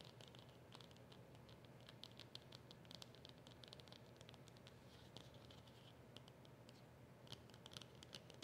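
Long nails scratch quickly across the round label of a small, flat cardboard polishing cloth packet. The quiet, rapid scratching comes as a dense stream of short, bright ticks over a steady low rumble, with no ring after each stroke.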